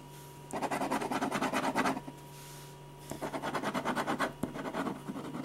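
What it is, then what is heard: Pen scratching on a paper sketch pad. A metal ballpoint pen, held low and flat, scratches rapid back-and-forth hatching strokes across a large sheet of white drawing paper resting on a firm board. Two bursts of quick, rhythmic, dry scratching, separated by a short pause, sit over a faint steady low hum.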